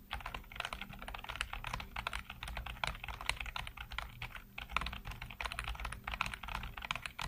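Fingertips type rapidly on a black plastic backlit computer keyboard, producing a dense, steady stream of short, bright clacks with almost no ring. A faint low hum sits underneath throughout.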